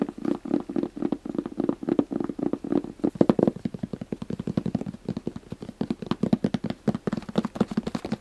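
A gray, hand-sized, hollow fabric-covered hard zip case is scratched and tapped on its top with fingernails and fingertips. The result is a dense, rapid stream of short, dull hollow taps with a low resonance around 340 Hz, alongside soft fabric scratching.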